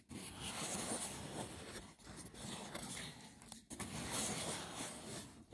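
Fingertips scratch quickly across the woven lid of a hollow, braided seagrass wicker box. The result is a dry, rough, brushy scraping that runs in long continuous bursts with brief pauses between them. It carries a bright, crackly high end over a faint low body.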